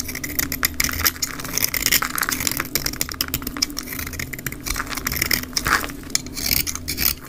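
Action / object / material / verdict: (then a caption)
scrape / bar of soap scraped with a blade / soap / none. A black snap-off utility blade scrapes and shaves a solid, rectangular, olive-green dry soap bar held in the hand, sped up to double speed. Dense, rapid, bright scraping and crumbling crackles run steadily throughout as the bar breaks into fine, crumbly shavings.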